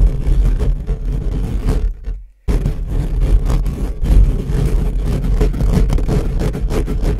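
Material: Metal mesh.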